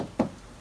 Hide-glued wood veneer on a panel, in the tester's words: it's down and it's not getting up